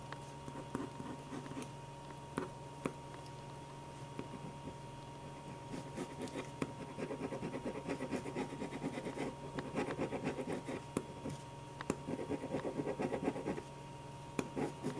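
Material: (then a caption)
Paper. A hand draws eyes with a black ballpoint pen on a stack of white paper sheets resting on a table, the nib scratching and stroking across the paper surface. Quiet, dry scratching and short strokes come over a faint steady hum, growing busier and denser from about the middle of the clip, with occasional sharp little ticks.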